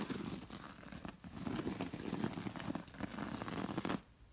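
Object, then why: Linen cushion cover with glass seed beads. Long nails scratch and trace along the red and gold glass seed beads embroidered on a square, soft beige linen throw pillow. A steady, dense run of rough, crackly scratching is heard, with a low fabric rustle and brighter clicks from the beads. It fades out abruptly near the end.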